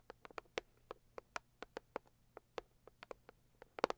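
Long acrylic nails tap and scratch the lid of a closed, hollow, medium-size pink floral Saviland cardboard gift box. The result is an irregular series of quiet, dry, clicky taps with a hollow mid tone around 480 Hz and little ring. Near the end comes a brief cluster of closer, louder taps.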